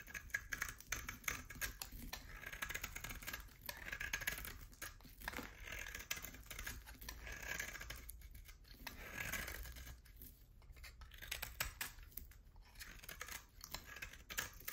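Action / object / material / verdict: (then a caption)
scrape / hard soap bar cut with a knife blade / soap / none. A utility knife blade cuts a solid oval bar of hard soap, with a pale core and a black rim, into flakes. The result is a steady run of crisp, dry scraping and cutting strokes, bright and quick, each snap and crackle dying away almost at once across about fifteen seconds.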